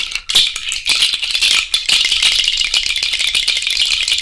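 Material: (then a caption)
Shell. A cowrie shell bracelet is held up on the fingers and shaken. It makes a bright, dense clattering rattle of shells knocking together, almost entirely high in pitch with almost no low end. After a brief dip near the start, the rattle carries on steadily to the end.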